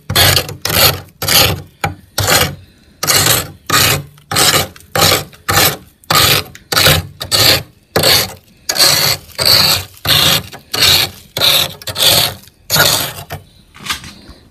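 A metal spoon scrapes a solid frost ice coating on a freezer ceiling in a steady series of back-and-forth strokes. Each stroke makes a bright, gritty rasp with a faint low rumble underneath, separated by short pauses.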